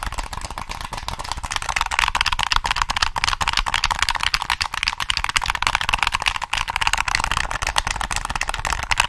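Fingertips click the triggers and tap across the back of a black, hollow plastic PS3 game controller. A rapid, dense stream of sharp, dry plastic clicks and taps runs steadily for about nine seconds, with a bright, hollow tone centered near 1 kHz.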